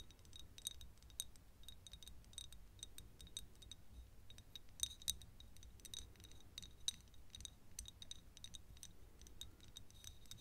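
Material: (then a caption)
Glass. Long nails tap quickly and irregularly on a small, thick glass perfume bottle partly filled with yellow liquid. Each tap is a quiet, bright, glassy tick with a high ring that dies almost at once, over a low, steady background rumble.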